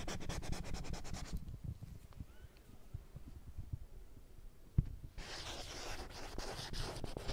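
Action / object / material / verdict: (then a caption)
scrape / small plastic-framed whiteboard with glossy surface / plastic / none. Long nails rub and scratch rapidly across the glossy surface of a small children's printed alphabet whiteboard with a green plastic frame while the board is tilted. Bursts of fast, bright, raspy scratching open and close the clip, with quieter low rubbing and a single sharp tap in between.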